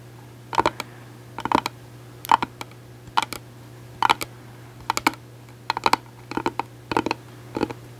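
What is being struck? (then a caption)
Hard-shell plastic case. Long acrylic nails tap on a closed gold glitter hard-shell case held horizontally. Quick, dry clicking taps come in short clustered bursts at a steady pace, each ending almost instantly, over a faint constant low hum.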